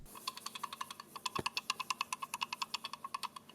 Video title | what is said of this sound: Samsung Galaxy S8 FAKE - Unboxing & Hands-On Impressions! | there's something loose inside maybe some maybe some screws or maybe the USB port